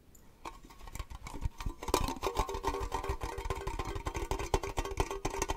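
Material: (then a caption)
Tin plate. A small, hollow, triangular metal cake-slice tin, open and empty, is held in the hands and tapped with fingernails on its lid and sides. The result is a fast, irregular run of sharp clicks and knocks with a short metallic ring around 380 Hz, starting softly and growing louder.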